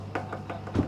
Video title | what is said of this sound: Super Cheap F350 + F550 + Insane Carnage! Copart 8-23-22 | it's not solid steel though you can hear it